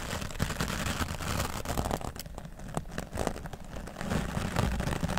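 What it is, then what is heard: Foam microphone windscreen being brushed. A grey foam microphone windscreen has its top brushed with the bristles of a wooden dry brush. The result is a continuous, dense scratchy rustle with a strong low rumble, with soft crackles and brief brighter swishes throughout.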